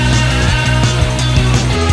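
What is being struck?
Nothing is struck.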